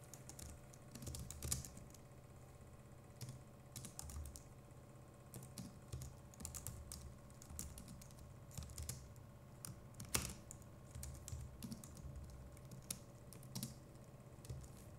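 Fingertips of both hands type steadily on a compact Logitech MX Keys Mini keyboard with plastic keycaps throughout. The result is a quiet stream of soft, muffled key clicks, each with a low thud and a short bright tick that dies away quickly. Occasional quick bursts and one sharper keystroke near the middle stand out from the run of typing.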